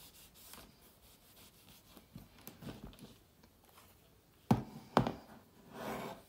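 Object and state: Aluminium laptop lid being wiped.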